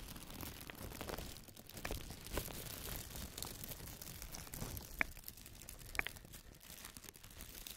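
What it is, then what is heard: Crinkly plastic bag. A large, thin, empty white plastic bag is rubbed with the fingertips, then folded and lifted by hand. It gives a steady, soft crinkling and rustling across low to high frequencies, with two sharp, bright crackles standing out near the end.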